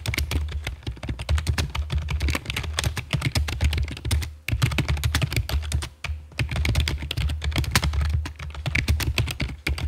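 Long fake nails and fingertips type on a full-size black plastic computer keyboard with a hollow body and keycaps, resting on a stone table. Fast, steady streams of short clicky taps carry a deep, hollow thock underneath. Brief pauses break the typing near 4.5 and 6 seconds.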